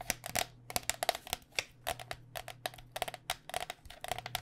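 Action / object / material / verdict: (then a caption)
tap / plastic cycling helmet shell over foam / plastic / none. Fingernails tap quickly on the outer plastic shell of a white cycling helmet, a hollow shell over foam. About 21 short, dry, hollow clicks land in an uneven rhythm, each with a mid-pitched knock near 700 Hz and a bright crisp edge that dies away almost instantly. A faint low hum runs steadily underneath.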